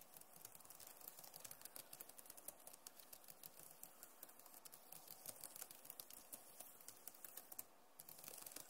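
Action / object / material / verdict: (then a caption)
tap / plastic laptop keyboard / plastic / none. Both hands type fast with fingertips and long nails on a backlit Acer laptop keyboard with plastic keys. A steady, dense stream of quick, dry, bright clicks and taps runs throughout, with a brief lull just before the end.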